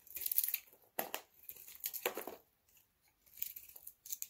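A metal utility knife scrapes and cuts a hand-sized solid bar of dry purple-blue soap held in the palm, shaving it down so layers flake off. Dry, bright crunching and crackling scrapes come in several short bursts separated by brief pauses, with no low rumble.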